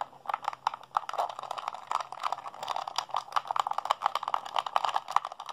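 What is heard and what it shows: A hollow blue plastic PlayStation 3 handheld controller is held in both hands while fingertips and thumbs rapidly mash its buttons. A dense, uneven stream of short, dry plastic clicks and clacks centres around 1 kHz with a little high brightness on top. Each click dies away almost instantly.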